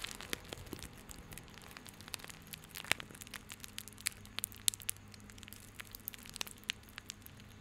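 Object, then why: Coiled plastic rope bundle. Fingertips rub and squeeze a small coiled bundle of white plastic rope held in both hands, producing dense, irregular crackles and crinkly snaps that are bright and quick. A faint, steady low hum sits underneath throughout.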